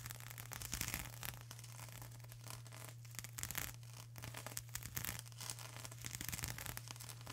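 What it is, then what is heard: Plastic bubble wrap. Long acrylic nails scratch and rub across a flat sheet of plastic bubble wrap, making quiet, dense, bright crackling and rustling with brief scratchy bursts. A steady low hum around 125 Hz sits beneath the scratching throughout.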